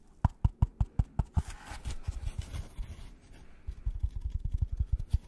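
Gloved fingertips tap and scratch the flat face of a white polystyrene foam packaging block. A run of evenly spaced dull, low thuds opens, followed by a softer stretch of scratchy rubbing, then a quicker string of muted taps.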